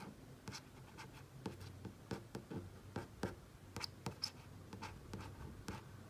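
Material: Plastic, glass.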